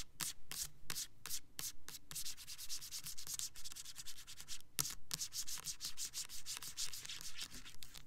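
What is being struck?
Plastic soap bottle.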